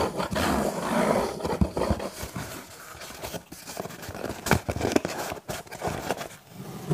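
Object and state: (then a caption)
Cardboard pizza box. A cardboard pizza box is scratched and tapped, giving dry, rustling scrapes broken by short, sharp taps at an irregular pace. The sound is close and quiet, with no voice.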